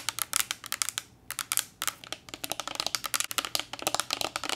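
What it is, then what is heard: Glass bottle tapped with nails. Long nails tap along the body of a slender green glass bottle with a paper label, held horizontally and partly filled with liquid. Rapid, bright, clicky taps come in quick bursts with a brief pause near the one-second mark, each tap dying away almost instantly.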